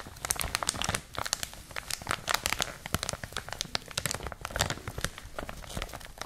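A clear plastic packaging wrapper is crinkled between both hands with long nails. The result is a continuous, dense run of bright, crackling crinkles with sharp, fast-decaying snaps.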